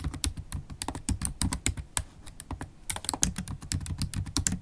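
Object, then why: Laptop keyboard with plastic keys. Long acrylic nails and fingertips type continuously on the black plastic keys of a MacBook Pro keyboard set in an aluminium body. Rapid, dense clicks and taps with bright clacky edges over a soft low thud keep a steady, uneven rhythm throughout.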